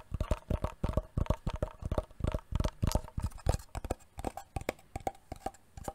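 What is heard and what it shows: A wooden box is tapped repeatedly for ASMR, giving a fast, uneven series of short, dull knocks. Each tap is low and woody with a faint hollow tone and stops almost at once. The pattering rhythm continues steadily throughout.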